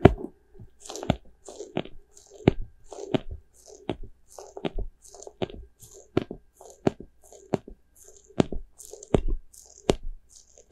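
A small, white, soft rubber spiky ghost squishy toy is squeezed and scratched with fingers and nails. Repeated short, sharp crackling squishes and clicks are heard, with low, dull thumps underneath and faint, bright scratchy rasps between them. The sounds come as a steady run of close, crunchy bursts with a mid-range squeaky tone around 380 Hz.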